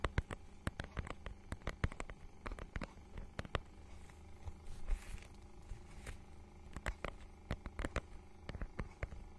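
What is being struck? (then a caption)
Faux-leather book cover with raised scale pattern. Long nails scratch over the raised scale pattern of a small, iridescent holographic faux-leather mermaid-scale book cover held in both hands close to the mic. It makes a quiet, low-heavy rustle broken by many sharp, dry clicks and ticks, with a faint hiss swelling briefly near the middle.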